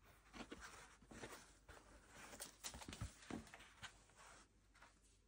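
Fingers in fingerless gloves rub and scratch along the felt brim and crown of a black hand-made Maz London DH wool felt top hat with a grosgrain band, hollow and empty, while turning it. The result is quiet, soft, brushy scratching with uneven bursts of bright friction and faint dull thumps against a low hiss.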